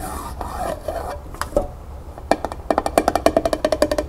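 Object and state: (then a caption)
Tin pail tapped with fingernails. Long nails tap the flat metal bottom of a small, empty tin pail set upside down on a table. After a soft, scratchy rustle, a quick run of light, dry taps speeds up, each giving a brief hollow tink of about 670 Hz that dies almost at once.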